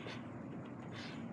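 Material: Nothing is struck.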